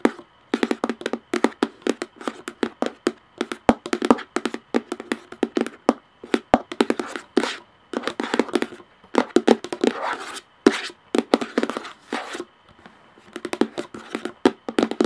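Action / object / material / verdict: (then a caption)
tap / plastic screw lid of a plastic jar / plastic / none. Long nails tap quickly on the top of a large plastic screw lid on a clear, hollow plastic jar. The result is dense bursts of dry, hollow clicks with a midrange knock, almost no low end, and very little ring, separated by short pauses.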